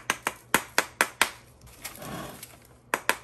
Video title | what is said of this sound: Floating and spinning bath bomb with recipe and test - great for beginners! | you can tell when it's about to release because it sounds Hollow